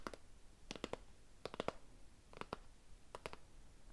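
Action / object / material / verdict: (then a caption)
tap / cardboard gift box / cardboard / none. A small, hollow, rectangular cardboard gift box with a floral paper print and a ribbon is held upright in one hand and tapped and scratched with fingernails. About fourteen quiet, dry, clicky taps land in loose clusters, each with a hollow midrange knock that dies away almost instantly, over a faint scratchy background.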